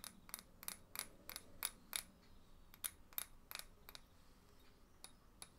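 A small, hollow terracotta flower pot filled with soil is held in the hands and tapped with fingernails. It gives fourteen quick, bright clinks at an uneven pace, each short and dry with almost no ring, over a faint low background hum.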